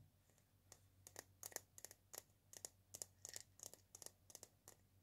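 Long painted nails tap and scratch the round body of a single hollow dried-gourd maraca with an etched leaf pattern, held in one palm. About eighteen quick, dry, bright clicks and scrapes come through at a quiet level, each dying away almost instantly over a faint low hum.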